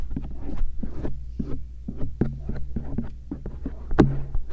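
A thin rose-gold stainless steel earpick held in fingertips scratches and rubs the outer ears of a pair of soft silicone ears mounted on a round binaural microphone. Muffled, mostly low scraping and rubbing strokes come in quick bursts over a steady low hum, with a sharper, brighter scrape near the end.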